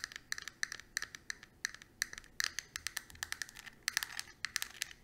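A small, flat, square plastic eyeshadow compact with a clear lid and four pans is held in the palm and tapped rapidly with long, pointed acrylic nails. The result is a quick run of sharp, dry clicks with a bright, hard tone around 1.8 kHz and almost no ring.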